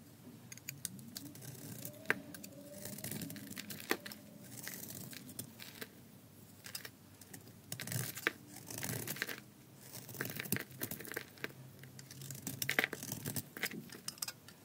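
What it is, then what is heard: Dry soap bar being shaved. A palm-sized, solid red glittery bar of dry soap with a pale inner core is held in one hand and shaved with a metal utility blade. Scraping cuts peel off curls. Bursts of dry, crisp scraping and crackling sound bright and sharp, with quiet pauses between the strokes.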